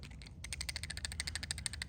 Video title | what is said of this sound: October 6th Sense unboxing | as you can hear it's like a one knock it is not a silent flat side